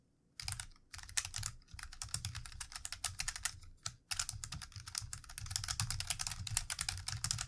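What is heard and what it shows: Fingertips of both hands type rapidly on a plastic computer keyboard, producing a dense run of short, bright key clicks over a soft low thump. The typing stops briefly three times, near the 1-, 1.7- and 4-second marks, before continuing steadily to the end.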